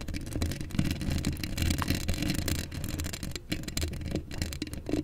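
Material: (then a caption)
Steel mesh. Long acrylic nails scratch across a hollow steel mesh microphone grille, making a continuous, dense scratching with a heavy low rumble around 145 Hz. Fast, bright rasping streaks run on top for the whole clip, with no clear gaps.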